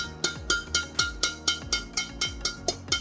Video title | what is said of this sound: HARGA MURAH TARIKAN WAH! RAKET BADMINTON HUNDRED ATOMIC X 38 POWER I ATOMIC X 38 CONTROL | suaranya nyaring gurih dan renyah enak sekali